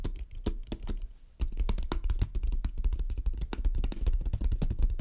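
Long dark-red nails tap and scratch on the lid and sides of a closed, hand-sized, hollow hexagonal painted wooden box with mint, black and red stripes and a small metal clasp, resting on a dark table. Quick, uneven clicky taps with a deep, hollow low thump run throughout, with a brief quieter lull early on before the tapping turns denser and steadier.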